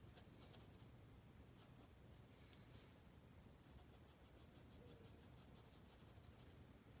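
A black mechanical pencil held in the fingertips scratches and shades across a page of a spiral-bound paper sketchbook lying flat on a wooden table. Soft, quiet bright scratching strokes come in short bursts over a steady low background hum, growing quicker and more regular in the second half.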